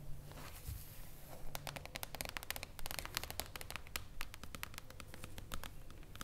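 Long acrylic nails tap and scratch across the top of a flat hardcover book with a shiny, reflective silver mirror-foil cover lying on a table. Quick, bright, clicky taps come in an irregular rhythm over a soft, continuous scratching hiss.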